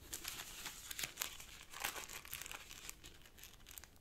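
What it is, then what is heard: Origami paper being creased. Fingertips crease and press the folds of a small folded purple origami paper sheet resting on a black cloth table. Soft, bright crinkling and rustling continue throughout, with a few sharper crackles standing out from the steady papery texture.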